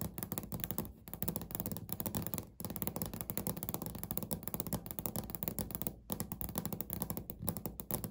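Fingernails on both hands tap rapidly across a flat, solid, speckled beige laminate countertop. The dense, continuous patter of short, dull, low-heavy knocks dies almost instantly, with brief pauses around one, two and a half, and six seconds.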